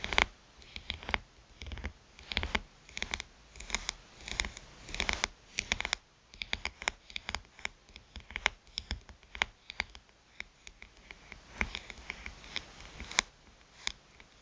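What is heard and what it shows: A small black smartphone lies face up on a bamboo mat while long blue-polished nails tap and scratch its glass touchscreen. Dense clusters of sharp, bright clicks mix with dry scraping bursts, each sound dying almost instantly.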